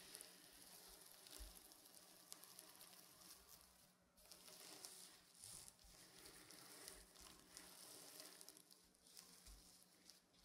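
Fingers and nails rub and scratch diagonally across a soft, stuffed reversible sequin pillow, flipping the sequins from blue to silver. The result is a steady, bright, sizzling rasp of tiny clicking sequins, with brief lulls between strokes.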